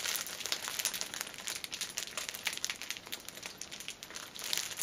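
A hand-held six-pack of paper pocket tissues wrapped in cellophane is squeezed and bent, so the plastic film crinkles under the fingers. The result is a steady, quiet stream of bright, crackling crinkles with almost no low end.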